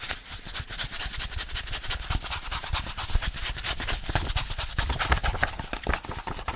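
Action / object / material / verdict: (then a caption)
tap / paperback book with card cover / paper / none. A small paperback Spanish phrasebook with a glossy card cover is tapped on the cover while its pages are riffled with the fingers. Quick, dry taps with soft low thumps run together with a steady, fluttering paper rustle for the whole clip.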